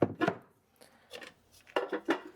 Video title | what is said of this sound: Old Fashioned Raspberry Ice Cream - Impossible to Find Store Bought | When you shake it, there's no sloshing sounds. Then you know that it's frozen solid.